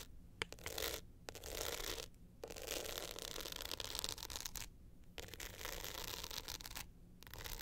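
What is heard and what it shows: Long nails scratch the glitter face and gold metal frame near the clasp of a glitter hard-shell clutch held upright in both hands. Bright, gritty scratching comes in bursts separated by short quiet pauses, over a faint low hum.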